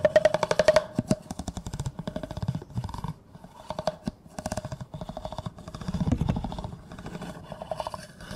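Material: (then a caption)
Plastic. A large, hollow, empty clear plastic cup held upside down is scraped and tapped with a yellow plastic comb, its teeth running along the cup. The result is quick, irregular bursts of rattling clicks with a steady hollow tone around 620 Hz, plus dull low thumps from the taps.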